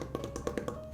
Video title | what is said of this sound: 3 Ways to Make a Rope Bowl (and a bonus way) | You hear that? Rock hard.